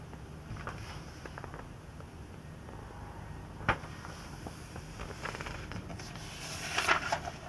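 Fingertips rest on an open glossy-paper spread of a 2002 Sports Illustrated magazine, with an unused marker lying to one side, then bend and lift a thin page to turn it. Soft, scattered paper crinkles and rustles sit over a low, steady background, with a sharp crackle midway. A louder, bright crinkling burst comes near the end as the page turns.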